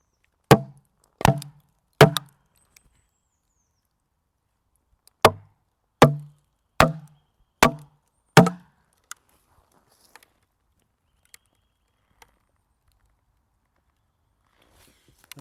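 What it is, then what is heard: Sweet chestnut log splitting. Wooden wedges are tapped into a large sweet chestnut log to split it: eight hard, woody knocks with a low body, three, then a pause, then five. Between and after the knocks come faint, sharp, high cracks, the sound of the wood fibres tearing apart as the log splits.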